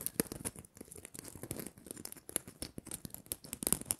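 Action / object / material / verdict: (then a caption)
scrape / glitter-coated plastic Christmas bauble / plastic / none. A small red glitter-coated plastic Christmas bauble is held in the fingertips while long nails scratch and tap across its glitter surface. The result is a quiet, dense run of crackly, gritty scratching, dotted with quick sharp taps and bright, crisp ticks.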